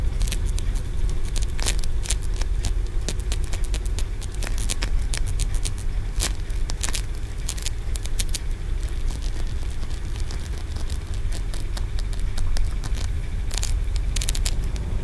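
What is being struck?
Aventurine stone pagoda.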